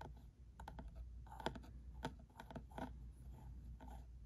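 Fingertips and nails tap the top of a small, closed, hollow printed cardboard ink cartridge box with a red top, resting on a felt mat, while a plastic pen also touches it. The result is a quiet, irregular run of short, dry clicks and soft hollow taps with a midrange knock that dies almost instantly, over a steady low hum.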